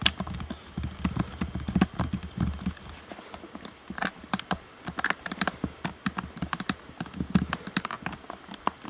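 A black, hand-sized hollow plastic Xbox One controller is held face-up and tapped with fingertips on its face and around the buttons and sticks. The first few seconds bring soft, dull, low thumping taps, then from about four seconds the taps turn sharp and clicky with bright high edges. Each tap is short and dry, with almost no ring.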